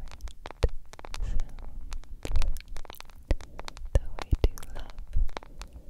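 A smartphone with a yellow plastic case and a glass screen is scratched and tapped with long nails. Rapid, irregular clicky taps and scratchy scrapes come in close clusters, with a dull, low body to each tap. Every tap dies away almost instantly, leaving no ring.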